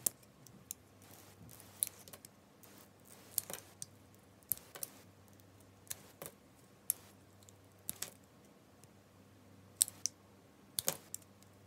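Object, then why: Bar of soap. A utility knife blade shaves and carves thin slices off a solid, hand-sized bar of white soap with an orange and purple striped coating, held in the palm. About eighteen short, crisp, bright scraping and cutting clicks stand out at irregular intervals over a quiet, low hum. Each slice sounds dry and snaps off with almost no ring.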